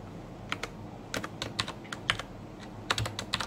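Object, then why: Plastic mechanical keyboard keys. Fingertips type on a black plastic mechanical keyboard with Cherry MX Brown switches and red-backlit keycaps. About 15 sharp, bright clicks sound in irregular bursts, each decaying quickly over a faint low hum.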